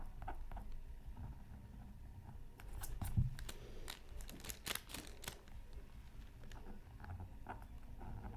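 A thin, black-coated scratch art card from a Mythical Creatures Super Scratch Art Pad is held down by one hand and scratched with a pointed wooden stylus. Quiet, dry, bright scratching strokes come in bursts over a low, steady background rumble, and they grow busiest toward the middle of the clip.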